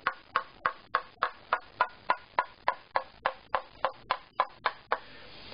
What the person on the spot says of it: tap along the center line and listen to that highest overtone. You can hear that again, it changes